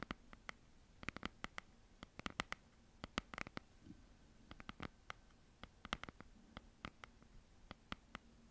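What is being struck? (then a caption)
Cardboard-covered hardcover notebook. Long nails tap and scratch the cardboard and paper cover of a red hardcover notebook held upright in both hands. The result is a quiet, irregular patter of many short, crisp clicks with bright highs, separated by brief pauses and faint scratching.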